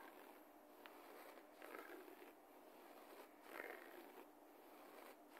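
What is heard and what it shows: Fingertips and nails of both hands claw and scratch the pile of a low-pile beige carpet floor. The result is a quiet, dry, scratchy rustle centered in the midrange, with little low end and no ringing. It swells and fades in uneven, repeated strokes.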